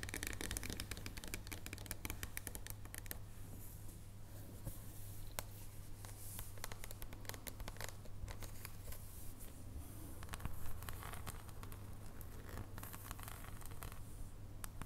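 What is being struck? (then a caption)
Dark chocolate bar. Long nails tap and scratch a solid dark chocolate bar with embossed segments lying on a wooden table. Quick, dry clicks and scratchy scrapes come in rapid clusters over a low, steady hum.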